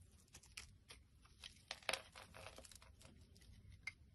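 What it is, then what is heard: Glycerin soap bar being shaved. A utility knife blade scrapes and shaves curls off a solid translucent pink glycerin soap bar held in the hand. Quiet, crisp, bright scraping and crunching strokes come in uneven bursts, with a few sharper snaps standing out near the middle and the end.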